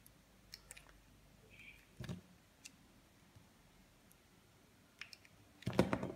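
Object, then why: Bar of soap cut with a knife blade. A utility knife blade shaves thin slices from a hand-held solid green soap bar, scraping and cutting into its surface. Soft, quiet clicks and scrapes are followed by a louder crunchy cut around two seconds. The clip ends with a dense burst of bright scraping.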